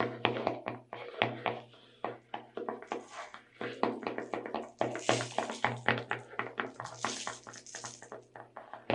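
Long red nails tap and scratch the plastic lid of a clear plastic tub full of sugar sprinkles. Quick, irregular, hollow clicking taps come about four per second, with brighter scratchy hiss mixed in, most noticeably around the middle and later part. A steady low hum sits underneath throughout.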